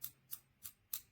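Four light taps on the main body of a PGYTECH Beetle Camera Clip V2, a quick-release, Arca-Swiss-compatible backpack clip with an anodized aluminum body in a bluish-green color. The taps are tapped to compare the body's sound with the black back plate. Each tap is a short, bright, high-pitched tick that dies away almost instantly, sounding like metal.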